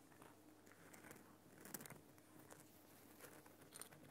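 Fingers scratch and tap near the top and on the side of a Himalayan rock salt lamp, a large solid lump of glowing pink rock salt. Quiet, dry scratching and soft crunchy taps are heard, with a few sharper, brighter clicks standing out over a low background hum.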